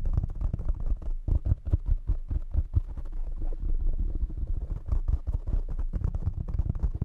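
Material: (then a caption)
Foam. Fingertips tap rapidly and steadily on the sides and top of a black foam windscreen covering a condenser microphone. Each tap lands as a dull, deep, boomy thump with almost no ring, while softer rustling fills the gaps. The result is a continuous run of muffled, bass-heavy taps.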